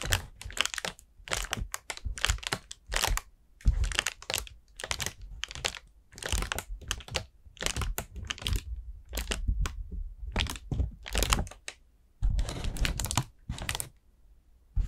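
Long nails tap and scratch an expanded, hollow orange paper lantern made of thin paper stretched over wire ribs. Quick dry taps with a hollow low thump and a bright, crinkly papery edge die away almost instantly. They come in dense, uneven bursts, with a longer continuous scratching rustle near the end.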